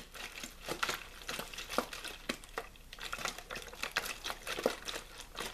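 Fingers squeeze and crinkle a small, hollow, clear plastic water bottle with a blue label that looks mostly empty. The result is a dense run of sharp, crisp crackles and pops with bright, airy texture and very little low end, each snap dying away almost at once.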